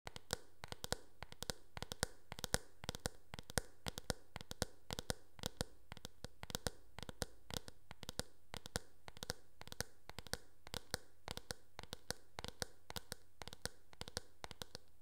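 Long painted nails tap and scratch rapidly across the smooth back of a hand-held teal hard-plastic paddle hairbrush with a hollow oval shell. Each tap is a short, bright click with almost no ring, over a steady low hum throughout.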